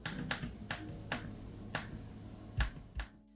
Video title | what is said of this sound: Lenovo Legion 5I Review | for those that prefer to press as opposed to tap the touchpad buttons do sound a bit hollow